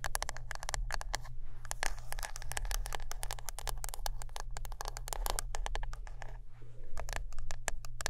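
Close-up tapping and scratching on a wooden brush produce a rapid, dense stream of sharp, dry clicks and short scrapes with almost no ring. A steady low hum runs underneath throughout.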